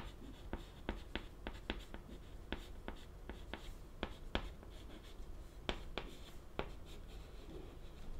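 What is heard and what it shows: White chalk held in the fingertips writes text on a flat, solid, wooden-framed black chalkboard, producing scratching strokes. About fifteen sharp, bright clicks of chalk striking the board stand out over a steady low hum, each dying away almost instantly.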